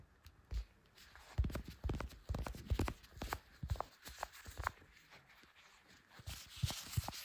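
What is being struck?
Smartphone in clear plastic case.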